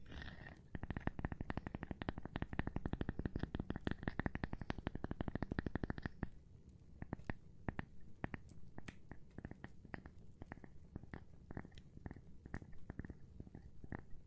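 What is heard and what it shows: A gloved hand taps on a cork board, making short, dull, low thuds with almost no ring. The taps come in a fast, steady flurry for about the first six seconds, then slow to sparser, softer, irregular taps for the rest of the clip.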